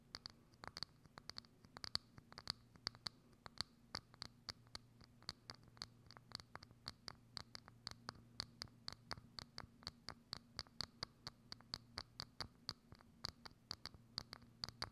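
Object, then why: Thin clear plastic dome lid. Long acrylic nails scratch and tap a hollow, thin, transparent plastic dome lid set over a microphone, making a steady run of sharp, bright clicks and scrapes. A faint low hum sits underneath, and each tick stops almost at once with no ring.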